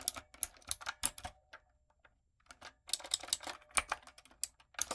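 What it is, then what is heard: Mechanical keyboard with plastic keycaps. Long nails and fingertips type on a retro typewriter-style backlit mechanical keyboard with round plastic keycaps. Bright, crisp clicks come in quick bursts, with almost no low end. The typing pauses briefly near the middle, then picks up again.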